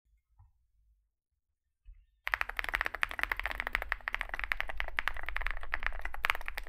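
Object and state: Mechanical keyboard with plastic keycaps.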